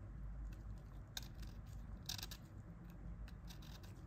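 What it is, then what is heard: Plastic phone keypad scraped with a pick. A thin pointed pick, held in purple-gloved hands, scrapes along the key edges and the plastic casing around the # key of a dirty old Nokia 1110 keypad while it is being cleaned. Soft, bright scratching clicks come and go over a steady low rumble, with two sharper scrapes standing out.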